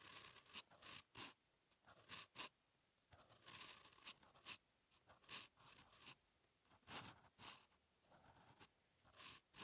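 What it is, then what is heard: Paper sheet scratched by a pen nib. A steel fountain pen nib scratches across a thin, solid lined paper sheet lying flat, writing continuous handwriting. Quiet, bright scratchy strokes come in short bursts with brief pauses between them, with little low-end weight.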